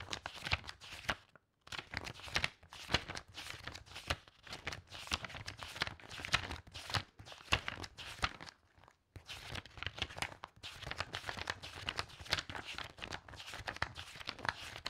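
A stack of thin, aged, loose book pages is held up at one corner while long-nailed fingers riffle through them quickly. The result is a dense run of fast, crisp paper flips and rustles with a bright, papery texture, broken by two short pauses.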